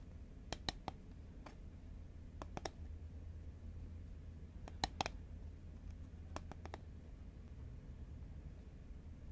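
Long nails tap along a hollow, green Pringles composite cardboard can held horizontally in both hands. Sharp, dry clicks land in scattered small clusters and die away almost instantly, over a steady low background rumble.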